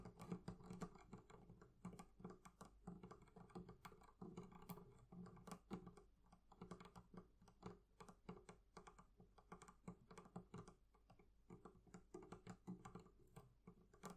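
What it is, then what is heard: Leather covering on a barrel chest. The leather covering of a barrel chest is tapped in a quick, continuous patter of soft, dull taps that sound much like typing on a keyboard. Each tap is low and muffled, dies away almost at once, and stays quiet throughout.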